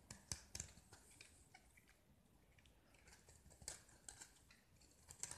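A small solid gypsum block with a green painted coating is held in the hand and carved and scraped with a metal utility knife blade, so the exposed white gypsum crumbles. The result is a quiet series of dry, crisp scrapes and crunchy ticks with bright high content and no ring. Two louder clusters stand out near the start and around the middle, over a faint low rumble.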